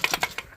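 An aluminum-cased third member (differential) from an MGB is shaken by hand, with metal pieces already fallen out of its front. Four short, bright, gravelly rattles sound as loose debris inside clicks against the casing. The differential is damaged internally.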